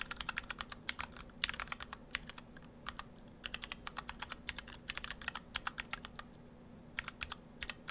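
Fingertips of both hands type on an Orthodox Rev3.1 split ortholinear mechanical keyboard in two halves with clear acrylic cases, white and cyan PBT dye-sub keycaps, and stock Gateron Brown switches. Rapid, bright, short keystroke clacks come in uneven bursts and brief pauses over a steady low hum.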